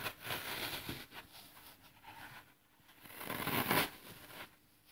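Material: Floral foam.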